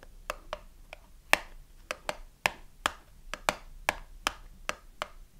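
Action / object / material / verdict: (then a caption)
tap / small cardboard box with a soap bar inside / cardboard / none. Long nails tap and scratch a small cardboard soap box with a bar inside, first on the front and then on its narrow side. There are 15 short, dry, bright clicks with almost no ring, spaced unevenly over a quiet background.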